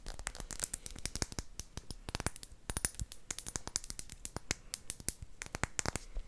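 A clear, round, hollow and empty glass potion flask with a cork stopper is tapped with long acrylic nails. Dozens of quick, sharp clicks come in an uneven, steady stream, each dying out almost at once with a bright, high glassy edge.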